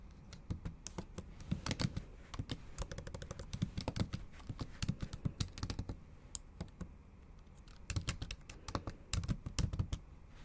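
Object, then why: Plastic laptop keyboard keys. Long acrylic nail tips and fingertips tap the backlit black plastic keys of a MacBook Pro in a silver aluminium body in a typing motion. Rapid, uneven clicks and soft thuds come in bursts, with a brief pause around the middle before the typing picks up again.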